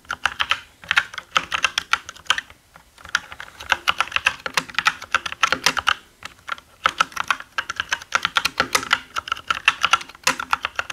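Both hands type with their fingertips on a black mechanical gaming keyboard with plastic keycaps. Rapid bursts of bright, clacky keystrokes, each dying out almost instantly, are broken by brief pauses near the 2.5-second and 6-second marks.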